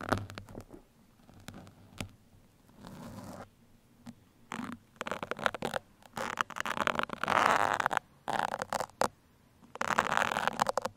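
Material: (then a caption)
Foam. Steel pins are poked into and scratched along a black foam microphone windscreen. Short bursts of dry, crackly scratching and rustling, centered in the midrange with some bright edges, alternate with brief quiet gaps. The louder, denser scraping stretches come toward the end.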